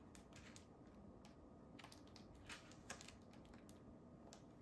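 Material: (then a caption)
Paper. Fingertips riffle and turn the aged paper pages of an open hardcover book with a red cover. Quiet, dry papery rustles and bright crisp flicks sound over a steady low background hiss. The page sounds stay soft and close, with a few slightly sharper snaps standing out.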